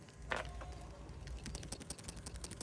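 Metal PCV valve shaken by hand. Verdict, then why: Free. A new genuine Honda PCV valve for a 2012 Civic EX is shaken by hand, producing quiet, rapid light clicks and rattles over a low background rumble. The rattle is the internal part moving freely, showing the valve is not stuck.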